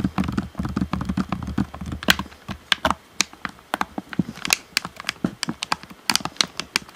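Fingertips tap the hollow black plastic shell and buttons of an Xbox One controller, about 27 quick, dry clicks with almost no ring. Early taps carry a soft, low, hollow thump under bright plastic ticks, while later ones turn sharper and more spaced out.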